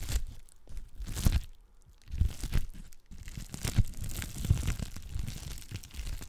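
A clear plastic bubble wrap sheet has its bubbles pinched and popped while long black nails scratch across its surface. Close, dry crinkling and crackling mix with sharp little pops and bright scratchy sweeps, and low soft thumps sit underneath. The crackles come in uneven bursts with brief quieter gaps between them.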